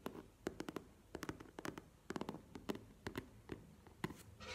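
An upright map-print faux leather cosmetic pouch, held in one hand, is tapped with fingertips and nails. Around twenty quick, dry taps come in uneven clusters, each with a hollow body near 380 Hz and a bright clicky edge that dies away almost at once. A soft, brighter scratchy rustle closes the clip.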